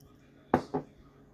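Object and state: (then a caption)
Dry dehydrated celery in a sealed glass jar. A sealed glass jar of dehydrated celery is shaken twice, giving two short, dry rattles as the loose pieces tumble inside. The free rattling shows the celery is still dry, with no moisture getting into the jar.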